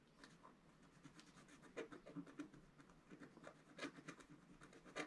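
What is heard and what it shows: A wooden stylus tip scratches fine lines into a flat, black, wax-coated scratch art paper sheet lying on a table and held down by one hand. It makes a quiet, dry, raspy scratching in a run of short strokes, with bright, airy edges over a soft midrange body. Each stroke stops almost at once, with no ring.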